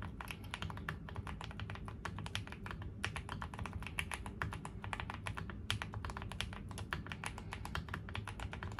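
A QwertyKeys QK75, a 75% custom mechanical keyboard with a dark green foam-filled hollow case, FR4 plate, lubed linear switches and gray GMK ABS plastic keycaps, is typed continuously with the fingertips of both hands on a gray desk. Rapid, dry, bright keystroke clacks follow one another over a steady low rumble, each dying away almost instantly.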